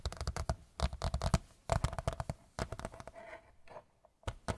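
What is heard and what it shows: A large white picture frame is tapped with the fingertips in quick, uneven bursts. The dull, low-heavy taps mix with light scratching and die away almost at once, with short pauses between flurries.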